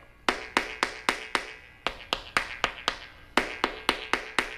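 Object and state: Hollow-sounding debonded concrete topping.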